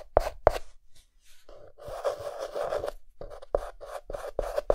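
A white chalk stick held in the fingertips hatches flower petals on a dark green chalkboard. Short, sharp scratching taps alternate with a longer continuous scrape, each stroke carrying a faint squeaky tone around 600 Hz with bright, gritty texture above.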